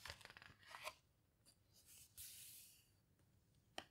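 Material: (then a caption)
Paper. Fingertips and palms with long red nails press and rub the heavy paper pages of an open houseboat book, then a page is turned by hand. A quick run of soft, scratchy, bright rubbing ticks gives way to a sustained papery swish of the page turning. A final sharp, crisp tick follows near the end.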